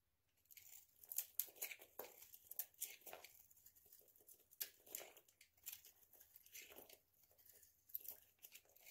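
A hand-sized solid oval bar of dry soap coated in orange nail polish is held in the hand and scraped with a utility knife blade into flakes. Quiet, bright, dry crunching and tearing scrapes come in uneven bursts, with short sharp peaks and little low end.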